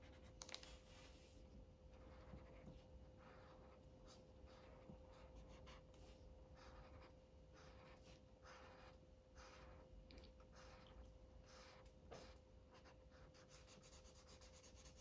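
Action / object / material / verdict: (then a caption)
scrape / felt-tip marker on a thin paper page / paper / none. An orange felt-tip Sharpie marker rubs in coloring strokes over a thin white paper coloring book page lying flat. Soft, bright scratchy strokes repeat over a low, steady background hum with a faint constant tone. The whole clip stays quiet and close.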